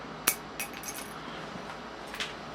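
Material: Hard plastic.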